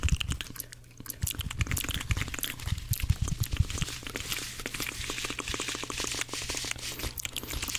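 Fingers squeeze and rub dry, porous blue cellulose kitchen sponges together close to the microphone. They make dense, fast, irregular crunching and crinkling scratches with bright, hissy edges over a steady low rumble.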